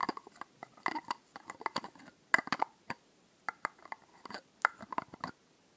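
Long nails tap and scratch a small, solid-walled glass bottle with a blue glitter label, held in the hand close to the microphone. An irregular run of short, crisp clicks follows, with brief glassy pings around 1 to 2 kHz and bright scratchy edges that die away almost instantly.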